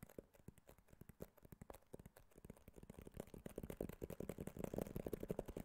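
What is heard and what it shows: A small, white, rigid cardboard iPhone box is held in the hand and tapped and scratched with fingernails. The result is a fast, irregular run of dry, quick-decaying taps and scratchy clicks with a hollow low-mid body. The sound starts quiet and grows louder and denser toward the end.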